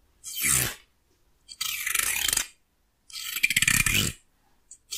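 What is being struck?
Wooden hair comb.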